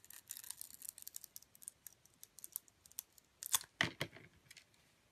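A metal utility blade slices the glittery coating off a glitter-coated bar of soap. The result is a quick, irregular series of soft, crisp, bright scraping crackles, with two louder, fuller cuts near the end before the strokes trail off quietly.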